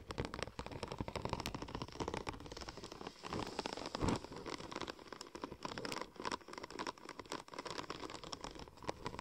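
Long nails tap and scratch across a curved, silver, checker-plate-pattern vinyl wrap sheet. The result is a dense, continuous stream of quick clicks and crinkly scratches with a bright, papery edge, steady in loudness with a slightly stronger swell near the middle.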